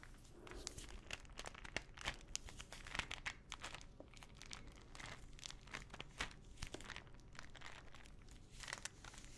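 A small clear plastic ibuprofen bottle full of pills, with a teal cap and paper label, is tapped and scratched with long nails. Many quick, dry clicks and crinkly scratches pile densely over a soft, steady low background for the whole stretch, with bright sharp tips on the taps and no ringing after them.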